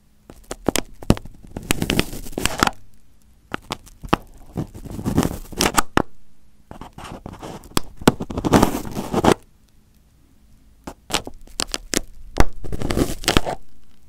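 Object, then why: Crumpled aluminium foil over a microphone. Fingertips and nails scratch and pick at crumpled aluminium foil wrapped over a microphone head. Close crinkling and scraping bursts come in waves, dotted with sharp crackling clicks over a heavy low rumble. Short quiet gaps fall between the bursts.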